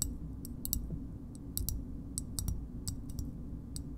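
Long nails tap the concave side and edge of a small, hard green plastic shoehorn, giving about 14 short, bright clicks at an uneven, slow pace. Each click dies away almost at once over a steady low rumble.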